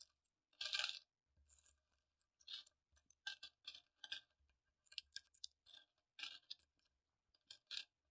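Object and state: Metal coins being handled.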